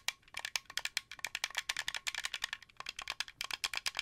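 Fingertips and nails tap the white face buttons and thumbsticks of a translucent blue, hollow plastic Xbox 360 controller. The result is a rapid, uneven run of about 28 dry, bright plastic clicks and taps. Each one is very short with almost no ring and no low end.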